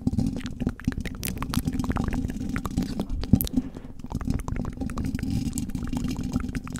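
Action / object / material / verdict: tap / metal mesh microphone grille / metal mesh / none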